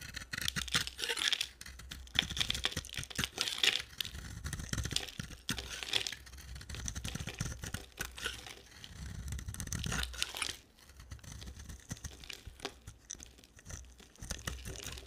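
A solid oval yellow bar of dry soap with a blue rim is held in the hand and scraped and carved with a utility knife blade into crumbly shavings. Dense, bright, crackly scraping and crumbling comes in quick bursts throughout, easing to softer, quieter scrapes after about ten and a half seconds.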